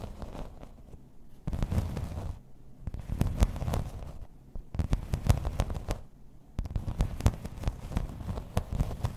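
Long red nails tap and scratch in place on a thin, solid grey embossed plastic placemat. Bursts of dense, crackly scratching and quick taps alternate with quieter stretches, and the sound sits mostly low with little brightness.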